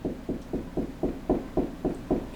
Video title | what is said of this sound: How to Install Window/Wall Mount AC 4 Hour Wall Timer...Where Should the Timer Go...Part 3 | here it's kind of a low hollow noise